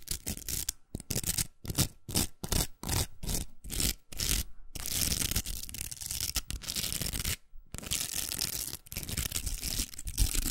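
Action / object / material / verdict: scrape / plastic velcro hair roller / plastic / none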